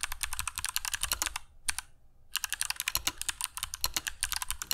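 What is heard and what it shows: Fingertips of both hands type continuously on a compact mechanical keyboard with grey PBT plastic keycaps and clicky Kailh Box Jade switches, resting on a cork desk mat. Rapid, sharp, bright clicks with a soft low thud under each keystroke die away almost instantly. A brief lull near the middle holds a single click before the steady typing resumes.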